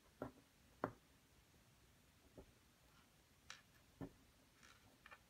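A wooden stick held in the fingers repeatedly scrapes and picks at a solid, dampened plaster block while the other hand braces the block throughout. About six short, dry scratching taps stand apart over quiet low background hiss, each dying away almost at once, some dull and low, others thinner and brighter.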